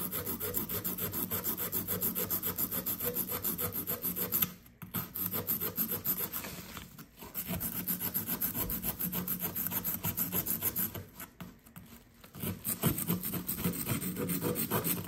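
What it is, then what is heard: Compressed sand block being scraped. A solid blue compressed sand dig brick resting on a paper towel is held by one hand and scraped with the tip of a blue plastic chisel. The result is a steady, gritty rasping and scratching in quick repeated strokes, with brief pauses near 5, 7 and 11–12 seconds before the scraping resumes.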